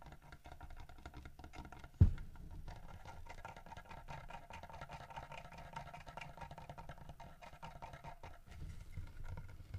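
Fingertips and nails knock and tap on the fish and body of a solid carved wooden bear statue holding a fish. A steady, soft patter of quick, dull taps runs throughout, with one sharper, louder knock near two seconds. The sound is low and muffled, with very little brightness.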